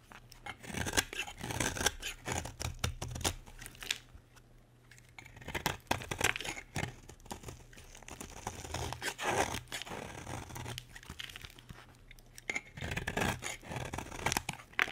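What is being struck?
Bar of soap.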